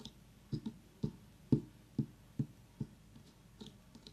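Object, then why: Small pumpkin rind. Long nails tap and click on the hard rind of a very small whole orange pumpkin, making eleven short, dull, low knocks at an uneven pace that die away almost instantly. A faint steady hiss from an essential-oil diffuser runs nearby underneath.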